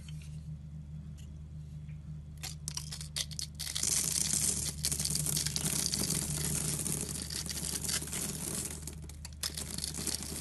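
A metal box-cutter blade scores and slices a grid into a green rectangular solid soap bar with an embossed EXXE logo, held in the hand, and small cubes crumble off. Bright, crisp scraping and crunching cuts grow louder after a quiet start, over a steady low hum.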